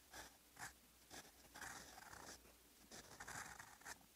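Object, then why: Steel fountain pen nib on lined paper. A steel fountain pen nib with blue ink writes on a lined paper notebook page, its nib scratching the paper. Quiet, bright, dry scratchy strokes come in short bursts and longer drawn-out passes, with almost no low end and no ring after each stroke.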